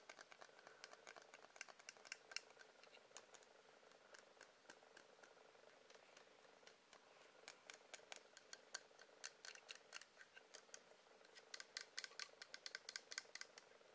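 Quiet, rapid tapping on a wax candle produces a steady run of short, dry clicks with a bright, high edge and almost no ring. The taps come in irregular bursts, with denser, louder clusters near the start, the middle and the end.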